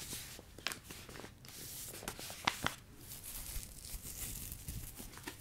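A Ben's Original plastic rice pouch, full of rice, is squeezed, crinkled and tapped with the fingers. Bright, papery crinkling and rustling run throughout, broken by a few sharp, short tapping clicks with almost no ring.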